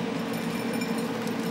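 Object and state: Nothing is struck.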